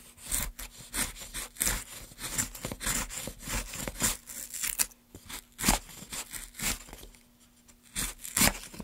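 A gloved hand cuts curls from the top of a solid light pine plank block resting on a dark mat, using a small metal gouge. Quick, irregular strokes make dry, bright rasping scrapes with short, sharp bursts, with quieter pauses between some cuts.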